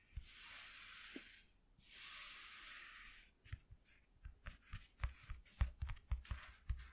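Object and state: Corrugated cardboard sheet.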